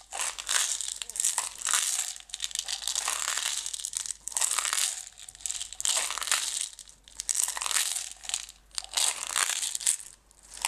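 Long red nails tap and scratch the sides of a closed clear plastic jar full of green decorative stones. Bright, crackly bursts of scratching and tapping come in waves, with the stones rattling and rustling inside and almost no low end.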